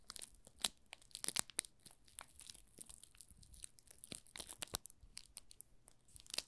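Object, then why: Soap bar wrapped in thin plastic film. Fingertips press and rub the thin clear plastic film wrapped over the top of a small solid pink rose soap bar, making it crinkle. The result is a quiet, steady stream of sharp, bright crackles and crinkly snaps, with brief louder pops scattered throughout and almost no low end.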